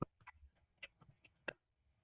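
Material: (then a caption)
Bread crust. Taps on the underside of a freshly baked sourdough loaf give a series of short, dry, hollow knocks with almost no ring. The hollow sound shows the bread is baked through, as its golden colour and crust also suggest.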